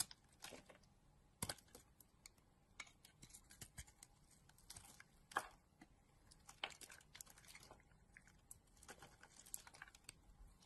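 A utility knife blade shaves and cuts a solid pink and blue bar of soap held in a hand with long dark nails. Quiet, bright scraping and crisp cutting sounds come in a steady run of short, dry strokes, with a few louder slices standing out.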